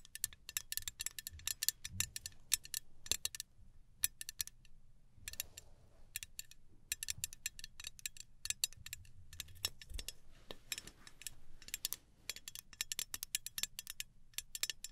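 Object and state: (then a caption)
Aluminum travel spray bottle tapped with fingernails. Long nails tap rapidly along the metal body of a small gold aluminum travel spray bottle held horizontally. The taps are quiet, bright, dry clicks that stop almost instantly, coming in quick bursts with short pauses over a faint low hum.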